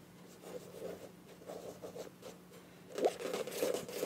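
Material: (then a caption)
Plastic. Long nails tap and scratch the flat printed body of a filled, medium beige plastic Ambi face wash tube with a bronze cap. Soft, dull taps and crinkly, papery scratches come in short, irregular bursts. The scratching grows louder and brighter in the final second.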